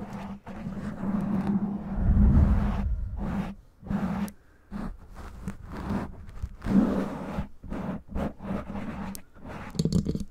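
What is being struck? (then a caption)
Foam microphone windscreen. Long nails slowly scratch and rub a black foam windscreen on a microphone with both hands. The result is muffled, bass-heavy scraping and rumbling in uneven bursts, with brief quieter gaps and a steady low hum underneath.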